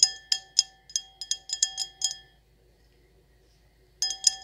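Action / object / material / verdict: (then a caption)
tap / stemmed glass wine glass / glass / none. An empty, hollow stemmed wine glass with an etched circle pattern is tapped and scratched with long acrylic nails. About fourteen quick, bright clinks ring out over two seconds, each with a short glassy ring over a steady tone near 750 Hz. After a silent pause, a final cluster of taps follows.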